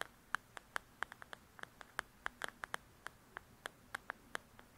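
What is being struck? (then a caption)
Paperback coloring book with glossy paper cover. Long nails tap and scratch the glossy paper cover of the "Belles and Blossoms" paperback coloring book. About 22 quick, dry ticks land at an uneven pace, each very short and centered near 1.6 kHz with a bright edge. A faint steady hiss sits underneath.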